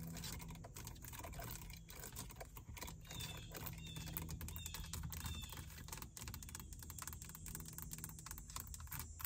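Long acrylic nails tap and scratch across the small screen and buttons of a plastic car stereo faceplate built into the dashboard, its hollow body giving a dull, quick-fading click. A dense run of fast, light taps and clicks like keyboard typing plays over a steady low hum, with faint bright scratchy streaks between them.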